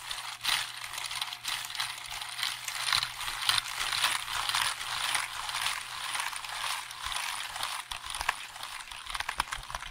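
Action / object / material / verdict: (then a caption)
tap / plastic computer keyboard / plastic / none. Fingertips quickly press and tap the keys of a hollow black plastic computer keyboard held up near the microphone. The result is a rapid, irregular stream of bright, dry plastic clicks with almost no low end, each tap dying away almost at once.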